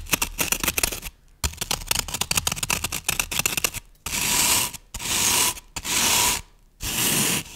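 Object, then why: Floral foam brick. Long nails scratch and scrape across the top of a solid green floral foam brick with a scratched surface. First comes a burst of rapid, crisp, dry scratching ticks, then four long, bright, hissing scrapes separated by short pauses.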